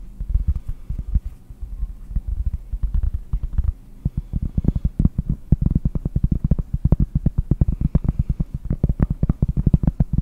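Fingernails tap quickly on the surface of a round, solid cork board held near the microphone. The result is a rapid stream of dull, muffled thuds with almost all their energy in the deep low end, no bright edge and no ring. There is a brief lull a little before the four-second mark, then the taps pick up again.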